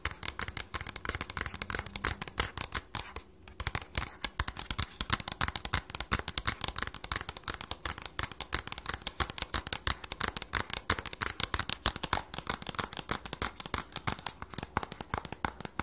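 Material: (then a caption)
Cardboard. Fingernails and fingertips rapidly tap and scratch the sides of a small, hollow, red printed cardboard package. The result is a dense, fast stream of dry, bright clicks and scrapes with a low hollow thump underneath, pausing briefly near the 3-second mark before continuing steadily.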